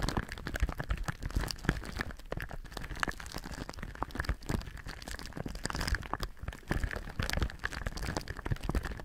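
Both hands rub and crinkle thin clear plastic film wrapped over a binaural microphone with their fingertips. The result is a dense, continuous run of crisp crackles and crinkles with a heavy low rumble underneath, holding a steady level for the whole clip.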